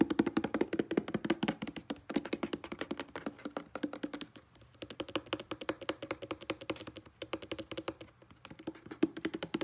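A hollow blue plastic Selsun Blue shampoo bottle, about 300 mL with its fill level not visible, lies on a soft grey textured blanket and is tapped rapidly across its label with short-nailed fingertips. The result is a fast, steady stream of short, dry taps with a hollow, mid-pitched plastic tone around 310 Hz and almost no ring. The tapping softens briefly near the middle, then picks back up.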